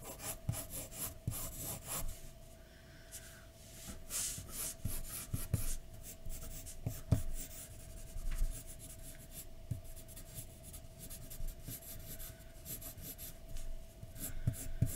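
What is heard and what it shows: A pencil point rubs and scratches across a flat white paper sheet on a dark desk while shading hair. Quiet, steady scratchy strokes continue throughout, with brief sharper scrapes standing out now and then.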